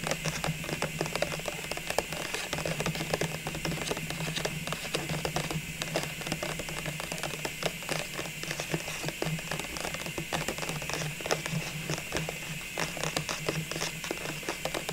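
Fingernails tap and scratch the outer wall of a clear plastic cylindrical ornament container full of small baubles, held in both hands. A dense run of quick, dry clicks and scrapes with very short decay plays over a steady low hum and a bright, hissy background.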